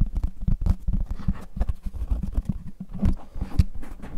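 Fingertips tap and rub the rim and face of a translucent plastic frisbee disc with a red rim as hands hold and turn it. The result is a quick, uneven series of soft, dull, low thuds with brief scratchy rubbing between them. Each tap dies away almost at once.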